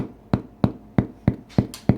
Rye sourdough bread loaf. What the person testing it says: if you tap on the bread, it has this hollow sound